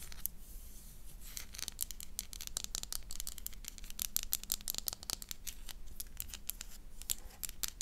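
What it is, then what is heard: Bar of soap being scratched. A solid oval black soap bar with an embossed logo is scratched with long dark nails. The result is a dense run of quick, dry, bright scratching clicks over a low background rumble.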